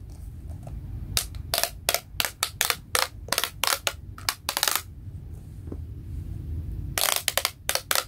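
Fingers pull the pink corrugated plastic pop-tube limbs of a small hollow toy robot with a white plastic body out to full length and compress them, while a yellow toy sits idle behind it. Bursts of bright, crisp clicking and crinkling pops come in quick clusters, with short, quiet gaps of low rumble between them.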